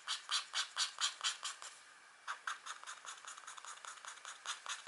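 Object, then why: Scratch art paper sheet with black coating over metal layer. A green-handled stylus tip steadily scratches a thin, flat scratch art sheet, a black coating over a metallic layer, lying on a table while a ringed, long-nailed hand rests flat on it. About eight bright, dry scratching strokes come in a steady rhythm, then a short pause, then a quicker, softer run of small scratches. The sound is thin and high-pitched with no low end.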